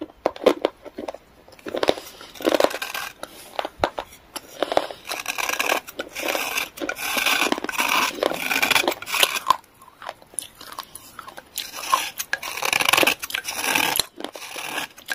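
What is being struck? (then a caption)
Pressed clay or chalk stick. A metal knife blade scrapes along the edge of a small, solid gray pressed clay or chalk stick held in the fingers, over a tray of clay shavings. Repeated dry, rasping scrapes come in uneven bursts with crisp crackles, bright and thin with almost no low end.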